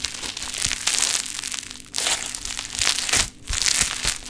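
A large pink sheet of play foam (foam bead modelling clay) is stretched out and squashed together with both hands. It gives off dense, bright, crunchy crackling from the beads in long bursts, with brief dips in between.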